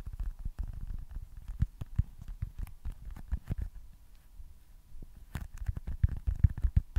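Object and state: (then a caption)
Foam stress ball. A small, solid, smooth white foam stress ball with red baseball stitching is tapped and scratched with fingertips and nails close to the mic. It makes quick, irregular, soft, muffled thuds and light scratches, mostly deep and dull with almost no ring. The sound thins out to quieter scratching in the middle, then the tapping picks up again more strongly toward the end.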